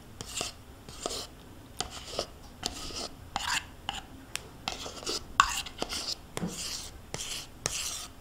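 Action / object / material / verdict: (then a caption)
scrape / plastic yogurt cup and metal spoon / plastic / none. A metal spoon scrapes the inside wall of a small, hollow, nearly empty plastic yogurt cup held tilted in one hand. The result is a quiet series of short, bright scraping strokes, each with a sharp hollow tick and almost no ring, separated by brief pauses.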